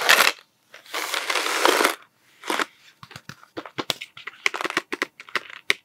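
A hollow cardboard Smarties tube with a blue plastic cap is held upright and scratched with fingertips, making bright, dry, rasping bursts over the first two seconds. It is then tapped with fingertips in a quick run of short, separate, hollow clicks that die away almost at once.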